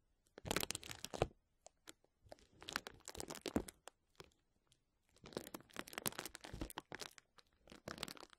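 Both hands scratch a clear plastic bubble wrap sheet lying flat with fingertips and nails, then gently grasp and crinkle it. The result is soft, bright, broadband crackling and tearing-like crinkles in three bursts separated by short quiet pauses, with many quick, dry snaps that don't ring out.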